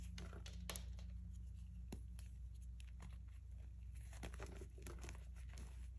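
Fingertips and a palm crush and grind solid fragments of grey reformed gym chalk into powder on a white board, with loose powder around and some pieces pressed between both hands. Soft, irregular crackles and brief bright snaps of crumbling chalk sit over a steady low hum, and the whole clip stays quiet.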